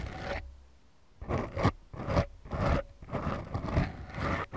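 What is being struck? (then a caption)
Foam microphone windscreens. Long glittery manicured nails of both hands scratch and rub two small, soft, porous black foam windscreens on the mic capsules of a Tascam DR-40X recorder. Seven deep, muffled scraping strokes are heard, a short one followed by a pause and then six more in a loose, uneven rhythm. Each stroke is a low, rough rasp with a bassy thump.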